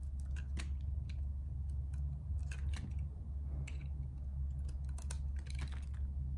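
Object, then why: Soap bar cut with a metal blade. A metal blade shaves and cuts thin slices from a small, solid, purple-and-white striped soap cube held in fingertips with long red nails, over a pile of soap shavings. Crisp, bright scraping and clicking cuts come in irregular bursts over a steady low hum.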